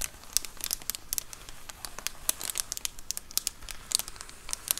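Long acrylic nails scratch along the top edge of a large white plastic Amazon Prime bubble mailer lying flat. The result is a quick run of dry, bright crinkling and scratchy ticks with almost no ring. A faint low rumble sits underneath.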